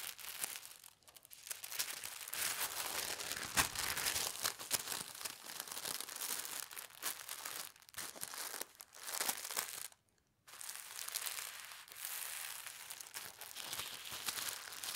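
Fingers with long red nails fold, press and rub a small folded packet of pastel-striped tissue paper. A steady, bright, dense crinkling runs throughout, with a brief moment of silence around the ten-second mark before the rustling resumes.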